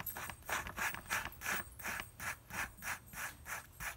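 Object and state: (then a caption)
Paper flour bag. A fingertip rapidly rubs and traces over the print of a flat, likely paper flour bag printed with a lion graphic and the words "Stone Ground Whole Grain." The result is a steady, rhythmic series of dry, bright scratching strokes, about three per second, each a short hissy burst centered near 1.7 kHz with little low end.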